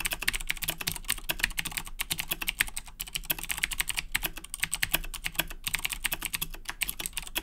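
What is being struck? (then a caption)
Mechanical keyboard with plastic keycaps. Fingertips type rapidly on a black Razer Blackwidow 2010 Edition mechanical keyboard with Cherry MX Blue switches and plastic keycaps. A fast, steady stream of sharp, bright clicks with very short decay runs throughout, over a faint low rumble.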